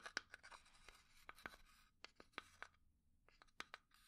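Fingernails quickly scratch and tap a small hollow pine wood box. Crisp, dry clicks with a bright, woody tone cut off almost instantly, with soft scratching between the taps and a brief quiet gap near the end.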